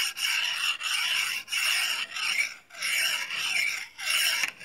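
A small solid steel knife with a thin blade is honed with scraping strokes along a steel rod. Each stroke is a bright, rasping scrape with almost no low end, repeated in a steady back-and-forth rhythm. Each stroke stops dead with no ring.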